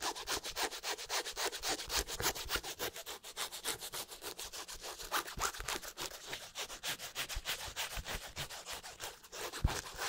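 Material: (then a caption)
Leather. Fingertips and nails rub and scratch an empty black leather high-top sneaker with a white sole. The result is rapid, steady back-and-forth strokes at about three to four per second, each a dry, bright, hissy scrape with little low end.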